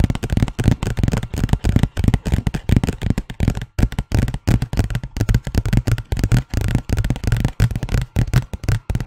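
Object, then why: Paper envelope. A large, thin white paper envelope is scratched and tapped with the fingernails of both hands. The result is a dense run of quick, dry taps and papery scratches, heavy in low, thumpy tones with almost no ring. It comes in uneven bursts throughout the clip.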